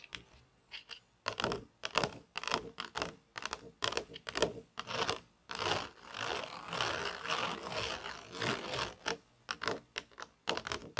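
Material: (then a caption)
Plastic. Long nails tap and scratch across the textured mesh base of a round black plastic toy pizza tray held upright. Short, dry bursts of bright scratching come in an irregular rhythm, with a longer continuous rasping scrape in the middle and quick taps that die away almost at once.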